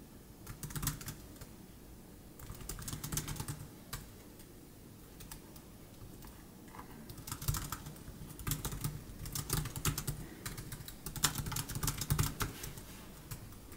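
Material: Plastic.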